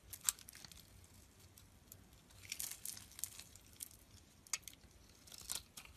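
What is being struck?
Soap bar scraped with a knife blade.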